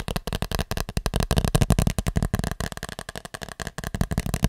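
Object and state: Plastic cap.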